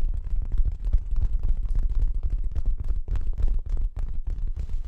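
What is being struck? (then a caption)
Fabric-covered stuffed cushion. Long acrylic nails scratch and rub the fabric surface of a soft, stuffed orange throw pillow held in front of the mic with both hands. The result is a dense, continuous run of quick scratchy strokes with a heavy, muffled low-end rumble and almost no high sparkle.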